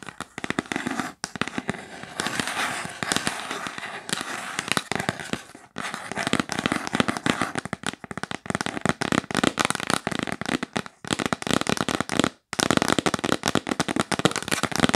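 Long nails tap fast and aggressively on a yellow printed cardboard gift box held upright. They make a dense, crackling stream of sharp, dry clicks that spread broadly across the range with a bright edge. The tapping pauses briefly a few times before picking back up.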